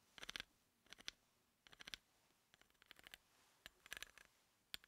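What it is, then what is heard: Steel bolt threads scratched with a pencil. A pencil tip held in the fingers taps and scratches along the threads of a large, solid threaded steel bolt with a hex head lying on a dark table. Quiet, bright, dry ticks and rasps come in quick clustered bursts with almost no low end, each click dying out instantly with no ring.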